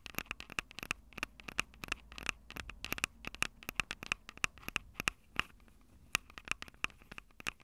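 Long acrylic nails tap the metal-grilled microphone capsules on a Tascam DR-05 handheld recorder, a small, hollow plastic-bodied unit. The result is a fast, irregular run of dozens of sharp, dry clicks with a bright tone around 2.6 kHz. Each click dies away almost instantly, over a faint low background hiss.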